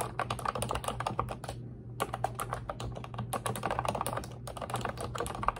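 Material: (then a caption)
Plastic. Long red acrylic nails and fingertips type and tap continuously on an Ubotie pink retro-style plastic keyboard with round white-and-pink keycaps and a hollow body. The result is a dense run of quick, hollow plastic clicks and clacks, with brief pauses near 1.7 and 4.4 seconds, over a steady low hum.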